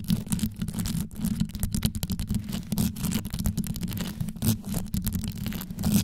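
Long yellow nail tips rapidly scratch and tap on the rhinestone-studded top of a rhinestone-covered microphone. The result is a dense, continuous stream of quick, deep, bassy thumps and scrapes with short bright ticks on top, fluttering steadily for the whole clip.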